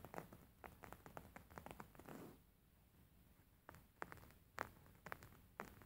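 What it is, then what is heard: Embroidered linen pillow. Fingernails tap and scratch the top surface of a beige embroidered linen pillow with stitched fabric. Quiet, dry, muffled taps come in an irregular patter, with a brief scratchy rustle, then a short pause. A few sharper, brighter taps follow, each dying away at once.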